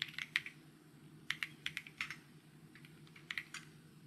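Fingertips type on a white mechanical keyboard with plastic keycaps, producing about 13 short, bright plastic taps in loose bursts with brief pauses between them. Each tap is crisp and dies away almost instantly over a faint low hum.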